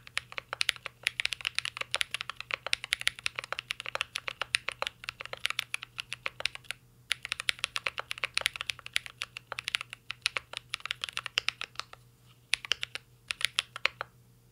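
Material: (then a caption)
Plastic. Fingertips type continuously on a mint-green Cyberboard R3 mechanical keyboard with a metal case and plastic keycaps. Rapid, bright, sharp clacks come in quick bursts, with brief pauses near 7 and 12 seconds, over a faint steady low hum.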